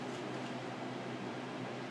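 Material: Nothing is struck.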